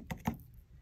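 Two finished game-controller-shaped bath bombs, pressed from baking soda and citric acid, are knocked together, giving two short, dry clicks with almost no ring. The hard, ceramic-like knocks show the bath bombs are rock hard and perfectly dry.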